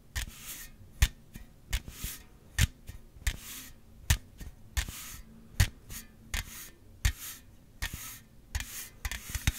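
A slim Celsius aluminum drink can, held horizontally, is rubbed and scratched along its printed side with fingertips and nails. Bright, hissy rasping strokes alternate with about 16 short, sharp taps that carry a dull low thump, in an uneven rhythm with no ringing after each contact.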